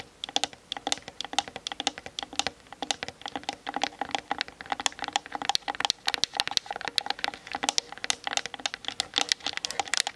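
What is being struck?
Plastic camera body and lens barrel.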